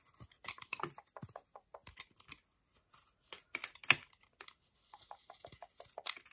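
A segmented solid milk chocolate bar held in the hand is scraped and chipped with a metal utility knife blade. Quiet, bright, dry scratching and chipping come in irregular bursts with short pauses, and each stroke stops almost at once.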